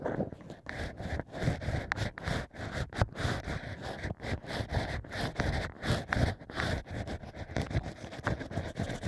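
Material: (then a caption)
Cork. Bamboo ear picks scrape inside the holes of a stack of drilled natural wine corks. The result is a steady run of short, dry, scratchy rasping strokes, soft and muffled with most of their weight low, and brief pauses between them.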